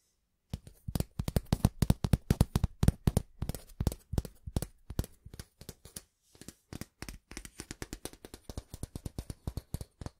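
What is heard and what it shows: Fingertips and nails scratch and tap along a long, flat, thin stainless steel ruler held diagonally. The result is a rapid, steady stream of short, dry taps with very little ring, low and thumpy in body with brief bright edges. The taps come in quick clusters, slightly softer and sparser in the middle before picking up again.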